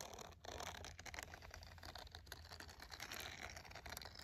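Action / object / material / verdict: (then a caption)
scrape / silicone scrubber glove with bristles / silicone / none. The bristled palm of a green silicone scrubber glove is scratched with a red pen and with fingernails. A dense, quiet, continuous bristly scratching fills the clip, bright and crackly with rapid flicks, over a faint low hum.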